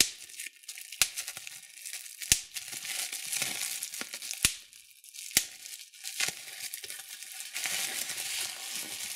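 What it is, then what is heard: Plastic bubble wrap being popped. Clear plastic bubble wrap is held in both hands while fingers squeeze and pop the bubbles. A steady bright crinkling rustle is punctuated by several sharp, dry pops that cut off almost instantly, with almost no low end.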